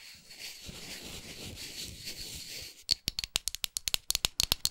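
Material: Wood.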